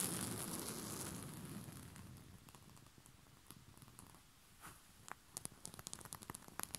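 Short fingernails and fingertips scratch and rub a soft, bunched white rose-print cotton bed sheet. A dense, bright rustling hiss fades over the first few seconds into quiet fabric friction, then sharp, crisp scratches and ticks pop out in quick, uneven bursts toward the end.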